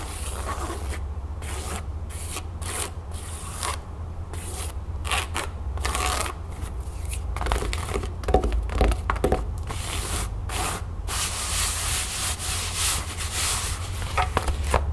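Fingertips and nails rub and scratch the surface of a flat, empty cream canvas pouch lying on a table. Dry, bright scratching bursts come in quick, uneven strokes over a steady low hum, growing busier and slightly louder toward the end.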